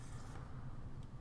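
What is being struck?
Nothing is struck.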